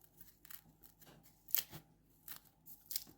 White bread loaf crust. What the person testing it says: just hear the crust there which is lovely